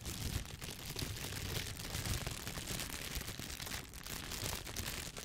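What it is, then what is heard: Plastic shower cap crinkled. A clear, thin plastic shower cap with an elastic edge, empty and hollow, is held in one hand and crinkled by squeezing it with the fingertips. A steady, dense crinkling and rustling continues throughout, with bright crackle over a soft low rumble.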